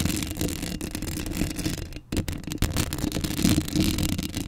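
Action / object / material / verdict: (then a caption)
scrape / metal mesh microphone grille / metal mesh / none. Long acrylic nails scratch up close across the hollow metal mesh grille of a black Blue Yeti microphone. The result is a dense, continuous scratchy rasp over a heavy low rumble, with bright grainy texture on top. A brief near-silent gap falls around the two-second mark before the scratching resumes louder.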